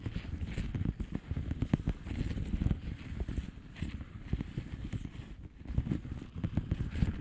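Long polished fingernails tap and scratch quickly on a flat blue plastic bubble wrap envelope. The result is a dense, steady patter of short, dull, low-heavy taps mixed with soft crinkly scratching, with no ringing after each tap.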